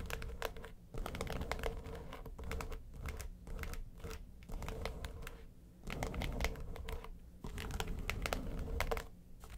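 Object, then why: Flat case with textured faux-leather covering. Long nails scratch the lid of a flat, hollow yellow case covered in textured faux leather. The result is dry, crinkly scratching with sharp bright clicks and a steady low rumble, coming in several bursts separated by brief quieter pauses.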